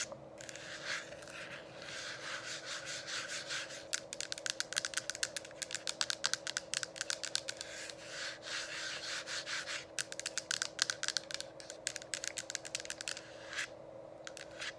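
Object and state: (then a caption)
Plastic essential oil diffuser. Long pink acrylic nails on both hands scratch and rub the sides of a running, mist-producing essential oil diffuser: a dome-shaped, hollow, frosted white plastic unit about 15-20 cm tall with a colour-changing light. Bright, hissing, sanding-like rubs mix with rapid sharp nail clicks and taps over a steady low hum from the running diffuser.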